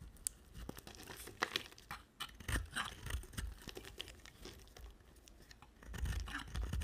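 An oval, solid pink bar of soap held in a hand with long black nails is shaved with a utility knife blade, pink curls falling away. The blade gives repeated short, dry scraping and tearing strokes with a crisp, bright crackle over soft low thumps. It grows a little louder and denser toward the end.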